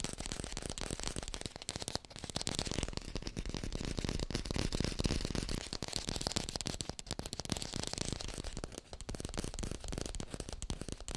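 Fingertips tap quickly on an artificial green apple, recorded with a hi-fi microphone. A dense, steady stream of short, dry clicks runs without pause, with a low thump under a bright, crackly surface.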